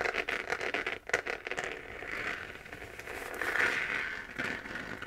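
Long nails on both hands scratch the sides of a hollow, glowing 3D-printed plastic moon lamp sphere. The result is a dry, crackly scraping concentrated around 2 kHz, with quick bursts early on that smooth into longer, steadier strokes. There is almost no low end and the sound barely rings.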